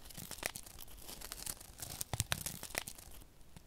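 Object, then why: Paper sachet of silica gel beads. A small, flat paper silica gel sachet filled with silica beads is held in one hand while the fingertips of the other hand rub and scratch it. The result is a dry, crinkly rustle broken by sharp, bright scratches and quick crackling bursts, with a faint low rumble underneath.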